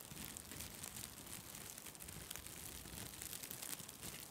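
A white plastic/nylon mesh bath pouf, light and airy, is held beside the microphone and squeezed and scrunched by fingers with long red nails. It gives a steady, soft crinkling and rustling with bright, airy texture and small crackles throughout, without a clear pause.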